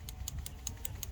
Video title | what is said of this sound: Episode 2 XH Falcon | you can hear the plunger moving